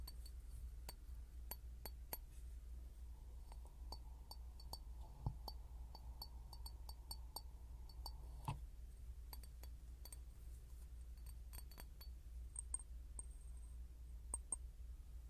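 A clear glass bottle is tapped over and over in an irregular rhythm, giving short, bright glassy clinks that die away almost at once. The taps are quiet and sit over a steady low hum.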